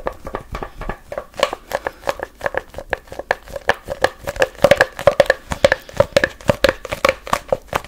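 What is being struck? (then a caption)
Cardboard tube. A long, hollow brown cardboard tube is gripped in both hands, twisted, rubbed and tapped with the fingers. A quick, uneven run of short, dry taps and scratchy rubs rings briefly with a hollow midrange tone, with crinkly brightness on top.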